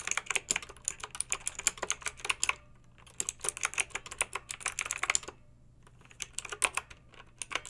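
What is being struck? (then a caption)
Plastic mechanical keyboard with round metal-rimmed keycaps. Long pink nails type on a backlit plastic mechanical keyboard with round, lettered, metal-rimmed keycaps. Bursts of sharp, bright clicks and clacks end almost instantly, broken by two short pauses around the three- and six-second marks.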